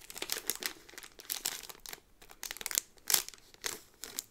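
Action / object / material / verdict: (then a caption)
scrape / cardboard card in a thin plastic sleeve / plastic / none. A yellow cardboard pin backing card in a thin, clear plastic bag is handled while fingertips and long nails crinkle and rub the plastic. Bursts of bright, crisp crinkling come and go across the clip with short quiet gaps between them. Almost no low end is heard.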